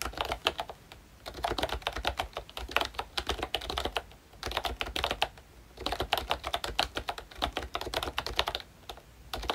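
Fingertips of both hands type on a full-size pink ROYCHE Disney Mickey Mouse retro keyboard, which has a plastic case, round dark green plastic keycaps and membrane switches. Quick, bright, clicky taps come in dense bursts broken by short pauses, each tap ending almost at once.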